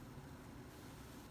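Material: Nothing is struck.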